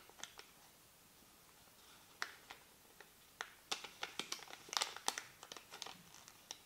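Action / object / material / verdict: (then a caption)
scrape / thin paper receipt / paper / none. A small white paper receipt is held between the fingertips of both hands and crinkled and rubbed. About twenty quiet, sharp, bright crackles and crinkles come in an irregular pattern. They are sparse at first, then grow denser and busier in the second half.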